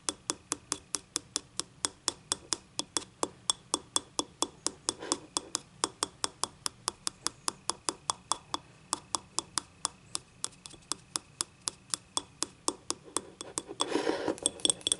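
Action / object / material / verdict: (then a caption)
tap / small ceramic cup / ceramic / none. Long nails tap the rim and outer wall of a small yellow ceramic cup, hollow and empty with a stained inside, lying on its side. Around sixty short, bright, dry clicks come in a steady, quick rhythm with almost no ring. Just before the end, a brief, denser rustling scrape breaks in.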